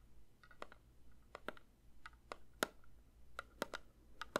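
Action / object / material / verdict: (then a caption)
tap / metal candle tin / metal / none. A metal candle tin is lightly tapped with the fingers. It gives short, dry, irregularly spaced clicks with a faint ring around 1.4 kHz, over a low, quiet background hum.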